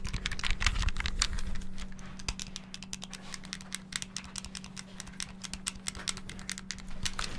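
Fingertips rapidly press the buttons of a small, hollow, clear plastic Game Boy handheld held close to the mic, producing a fast, uneven stream of sharp, bright plastic clicks and rattles. The clicking is loudest and densest in the first two seconds, then continues more softly over a steady low hum.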